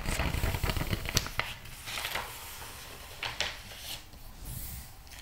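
Fingertips rub and turn the paper pages of a thick, glossy interior-design magazine lying open on a rug. Dense rustling and crinkling with soft low thuds comes first, then quieter, irregular page swishes and brushing follow.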